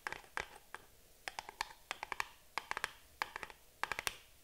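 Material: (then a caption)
Cardboard. Long nails tap and scratch the sides of a small printed cardboard box held and turned in the hands. About twenty quiet, sharp, dry clicks come in irregular clusters, each with a short hollow ring around 1–2 kHz and a bright edge, separated by faint scratchy rustling.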